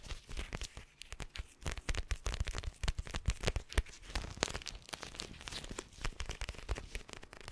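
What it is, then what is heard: Plastic gel ice pack with gel beads. Fingernails and fingertips scratch and tap the textured surface of a flat, hand-sized, teal clear plastic gel ice pack filled with gel beads, held close to the mic. A rapid, uneven stream of dry crinkling scratches and soft thumping taps with a low, muffled body follows, each sound stopping at once with no ring.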